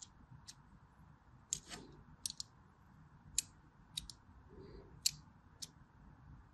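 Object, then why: Bar of soap cut with a blade. A blade cuts crossing lines into a solid white bar of soap with diagonal grooves. It makes about ten sharp, crisp, bright clicks at irregular intervals, each dying away almost instantly over a faint low hiss.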